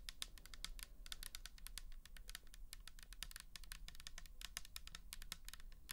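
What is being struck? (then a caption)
Plastic bottle with liquid. Long nails tap and scratch rapidly across the label and side of a pink plastic toner bottle with liquid inside. The result is a quiet, steady stream of crisp, bright clicking taps over a low hum.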